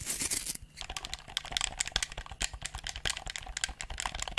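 A handheld, hollow black plastic gamepad held close to the mic has its buttons and sticks pressed and clicked with thumbs and fingertips. A brief burst of bright rustling opens the clip, then a fast, irregular stream of sharp, dry plastic clicks and taps with very short decay follows over a faint low hum.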